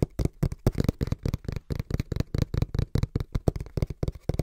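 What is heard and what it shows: Fingertips tap rhythmically and quickly on the printed face of a small, hollow brown cardboard box held in both hands. About 23 short, dull, low thuds come in quick bursts, each dying away at once with no ring.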